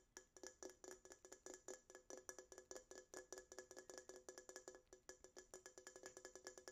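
Long acrylic nails tap and scratch the side of a small red Coca-Cola aluminum can held in both hands, its contents not visible. A quick, steady run of 41 short, dry metallic taps rings briefly around 370 Hz with a bright, glassy edge, with faint scratching between them.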